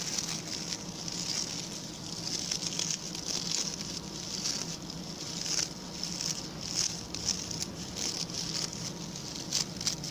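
A small round, ring-shaped brush with a center hole and stiff brown natural coir bristles is held in one hand while its bristles are flicked and scratched with a pink plastic tool and fingertips. The result is a steady, dense, crackly scratching with a bright hissing edge and many quick, irregular flicks standing out throughout.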